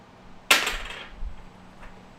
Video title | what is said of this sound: Part 2, Mega Charity Auction 3rd Annual Suicide Prevention Fundraiser, Saturday 9/28 3 PM Central | it's a really dull clunk instead of a plink